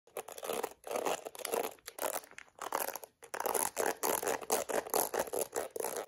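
Long red acrylic nails scratch the dense black plastic bristles and tap the rim of a hollow-backed plastic detangling hairbrush with a yellow plastic back, held over a brown blanket. The result is a run of quick, dry, crackling scratch bursts with a bright, brittle texture, broken by short pauses and light tapping.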